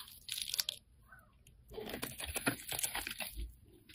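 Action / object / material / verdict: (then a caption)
scrape / bar of soap scraped with a metal blade / soap / none. A solid, rounded, hand-sized pink soap bar is held in the hand and scraped and cut with a metal utility-knife blade, producing crumbly shavings. A short burst of crisp, bright crunching is followed by a quiet pause, then a longer run of dry, crackly scraping and cutting sounds with sharp little ticks.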